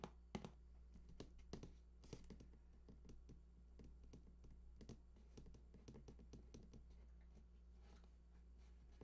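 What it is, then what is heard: Cardboard console box. Fingertips scratch and tap along the bottom edge of a large, hollow cardboard PS4 console box lying on its side. A quiet, steady stream of short, dry taps and scratchy rubs sits over a constant low hum, each tap dying away almost instantly with a faint hollow thump.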